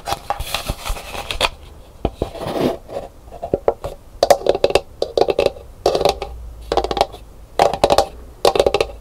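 Long nails scratch and tap the textured outer shell of a hollow, empty painted calabash gourd bowl, which is held and then turned upside down. Rapid bursts of dry scratching alternate with quick, clustered taps that give a hollow, woody mid-range tone and die away almost at once.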